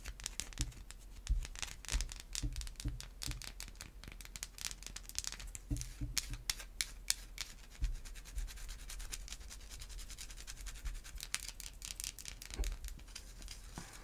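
Long white acrylic nails scratch and rub a solid white bar of Irish Spring soap with an embossed logo. Dense, bright, dry scratching strokes run throughout, broken by occasional soft low thumps.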